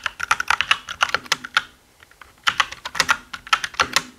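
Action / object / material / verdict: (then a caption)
tap / plastic mechanical keyboard / plastic / none. Both hands type quickly with their fingertips on a black mechanical keyboard with plastic keycaps and a hollow body, tapping many keys. Short, bright, clacky clicks with a hollow ring around 1.3 kHz come in fast bursts, with no low end. A brief pause near the middle separates the two bursts before the typing resumes.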